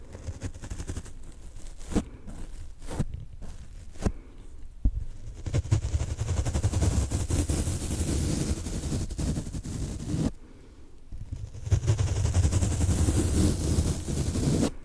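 A large, soft, solid yellow foam car sponge, unwrapped and held beside the microphone, is scratched and rubbed with a foam applicator on a wooden handle. A few sharp scratchy clicks stand out early on, then a steady, dense, low rumbling rub builds, drops away briefly around the tenth second, and resumes just as strongly to the end.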